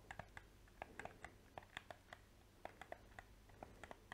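A small, hollow black PS4 plastic controller has its buttons clicked and its shell tapped with painted fingernails and fingertips. About 18 short, dry, plastic clicks and taps come in an irregular, typing-like rhythm. Each has a bright, hollow midrange snap that dies away almost instantly over a faint low background.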